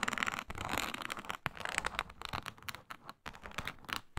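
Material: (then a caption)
Synthetic leather. Long nails scratch across a flat, iridescent, embossed reptile-pattern synthetic leather mat, a faux snakeskin. The result is dry, bright, crackly scraping in quick bursts separated by short pauses, shifting between harder and softer strokes.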